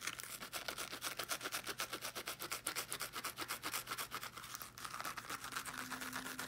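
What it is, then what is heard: Fabric-covered small speaker being scratched. Long painted nails quickly scratch the woven fabric mesh of a small teal fabric-covered speaker, making rapid, dry, bright rasping strokes about four times per second. A faint steady tone runs underneath, and the scratching briefly dips near the end before picking back up.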